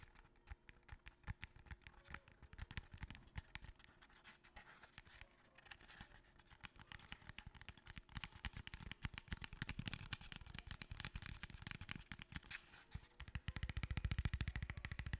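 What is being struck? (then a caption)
Small narrow cardboard box. A small, long, narrow, hollow cardboard box is held close to the mic and tapped quickly with the fingertips and nails. The result is a quiet, uneven stream of soft, hollow low thuds mixed with dry, bright nail clicks, growing denser and louder toward the end.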